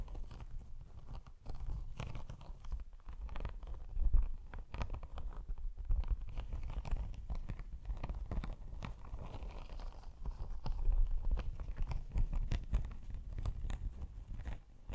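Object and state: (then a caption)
Faux snakeskin laptop sleeve. Long acrylic nails scratch and tap an iridescent faux snakeskin laptop sleeve, a padded, holographic snake-textured faux leather sleeve held close to the microphone. The sound is a steady, dense stream of dull, crunchy scratches and soft taps, heavy in low rumble with little brightness, swelling briefly around a few firmer strokes.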